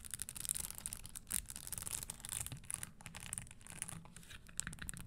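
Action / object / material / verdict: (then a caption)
scrape / leather stiletto shoe with small metal studs / leather, metal studs / none. Long green acrylic nails scratch and tap across the small red studs on the upper of an empty, hollow spiked red leather Christian Louboutin pointed-toe stiletto pump resting on a wooden table. The sound is a dense run of quick, dry clicks and scratchy rasps with a bright, hissy top, over a low rumble.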